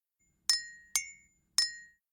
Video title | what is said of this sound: My First Podcast - Sound adventures for tiny kids and parents - Seagull and Kite | I can make a clinking sound by tapping a spoon gently against my cup.